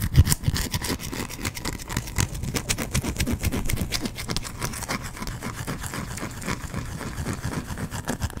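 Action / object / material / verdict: scrape / bar of soap / soap / none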